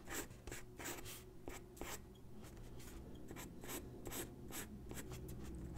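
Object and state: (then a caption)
Pencil sketching on paper. A graphite pencil sketches on a single white sheet of drawing paper resting on a wooden desk. Quick, uneven scratching strokes make bright, hissy bursts over a quiet, steady low background.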